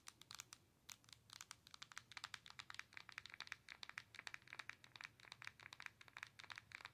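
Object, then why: Handheld game console with glass screen and plastic body. Long nails tap rapidly on the glass touchscreen of a Nintendo Switch handheld console with a plastic body. The result is a quiet, dense run of quick, bright, dry clicks with almost no low end and no ring.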